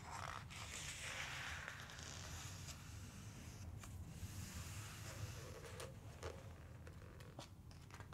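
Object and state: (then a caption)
Glossy paper book pages. Fingertips rub across a glossy paper page of a large open book, making a soft, bright rustling scrape over a steady low rumble. The hands then lift and flip a page over with a few crisp crackles, and smooth it down with quieter brushing strokes.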